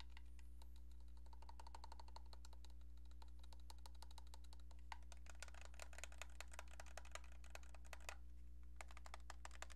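Long painted nails tap rapidly on a hand-sized, hollow, cream-coloured plastic cordless landline handset with a keypad. The quiet, crisp clicks come in dense, uneven runs with bright edges, over a steady low hum throughout. Each tap dies away almost instantly.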